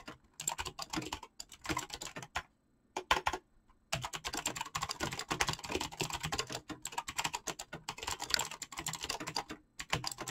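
Fingertips type rapidly on a full-size backlit mechanical keyboard with PBT plastic keycaps, producing a dense stream of short, bright clacks. Two brief pauses break the typing in the first four seconds, after which the keystrokes continue steadily to the end.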